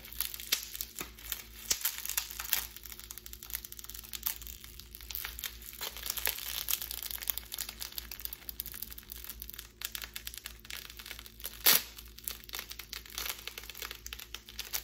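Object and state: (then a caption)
Plastic bubble wrap. A clear plastic bubble wrap sheet is bunched in both hands, crumpled and stretched with the fingertips and long pink nails, its bubbles popping. Dense, bright crinkling runs throughout, with many quick sharp pops and one louder pop near the 12-second mark, over a faint steady low hum.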